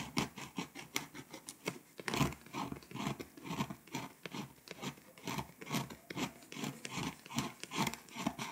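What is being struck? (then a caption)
Foil-coated paper scratch-off map scraped with a plastic tool. A pink plastic scraper tool scratches the foil coating off small countries on a flat, foil-coated paper scratch-off world map poster. Quick, dry rasping strokes come in irregular bursts, about two or three per second, each a bright, papery scrape with a little low thud and almost no ring.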